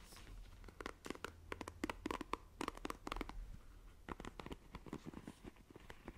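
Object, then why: Plastic paddle hairbrush. Long nails scratch across the plastic bristles of a black plastic paddle hairbrush, making a quick, uneven series of short, dry, scratchy clicks and ticks. The clicks are quiet, with a bright edge around 1 kHz, and die away instantly over a low, steady background hum.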